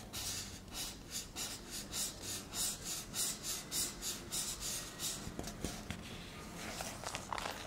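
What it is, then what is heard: Aerosol shaving foam can, scratched. A shaving foam can, likely a metal aerosol can with a plastic cap, lies on its side while both hands grip it and long nails and fingertips rub and scratch over its label. Soft, bright scratchy strokes repeat in a steady rhythm at roughly 100 per minute. The strokes then fade into quieter rubbing with a few small clicks.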